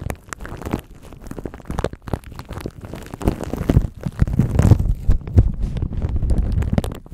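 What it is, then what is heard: Plastic wrap crinkled on a microphone. Cupped hands rub a thin clear plastic bag wrapped around a microphone, crinkling it with their fingertips. The result is a dense, irregular stream of muffled, low rumbling crackles with brief sharper pops. It grows louder and busier after about three seconds.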